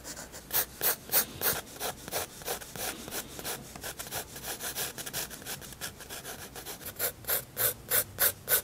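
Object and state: Pencil scratching on a paper page.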